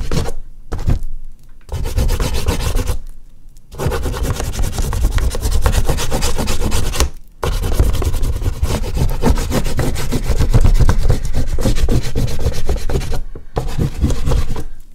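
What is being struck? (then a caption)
Oil pastel rubbed on a sheet of artist's paper. An oil pastel stick is rubbed in broad strokes over the upper background of a large flat sheet of artist's paper resting on a board. It makes a steady, dense, grainy scratching that stays mostly low and muffled, with quick back-and-forth texture. A few brief pauses break up the strokes.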